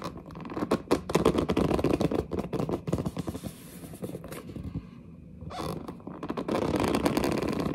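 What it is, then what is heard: Cardboard box. A large, flat, hollow printed cardboard retail box for a pink gaming headset is held against the chest and scratched and gripped with long dark-painted nails. Dense, rapid scraping and scratching sounds dominate, with brief quieter pauses around the middle before the gripping swells again. The result is a busy, dry rasp focused in the low mids.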